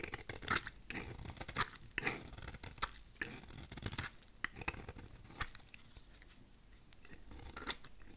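A thin, solid piece of translucent lilac glycerin soap is held in the fingers while its surface is shaved with a utility knife blade. Repeated dry, crisp scraping strokes crackle and rasp with a bright, tearing edge, some sharper than others. They settle into a softer, steadier scrape toward the end.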